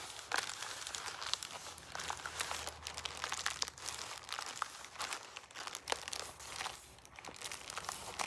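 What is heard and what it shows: Fingertips wearing rings rub and press the ribs of a hollow, pleated paper lantern held up close, partly collapsing it. The result is a steady stream of dry, bright crinkling and crumpling with sharp little crackles and no low end.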